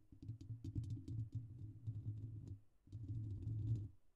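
Fingertips and short nails of both hands scratch and rub the hollow, rounded metal wire-mesh grille of a silver microphone. The result is a dense, muffled low rumble of rubbing and tapping with faint bright crackles on top. It drops away briefly just before the three-second mark, then resumes.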